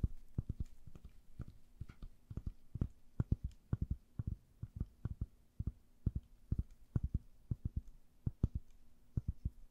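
A rectangular, hand-sized yellow foam sponge, soft and porous, is held in gloved hands and scratched and squeezed with long nails. The result is a quiet, irregular stream of dull, low, muffled taps and soft squishes that die away almost instantly, over a faint steady hum.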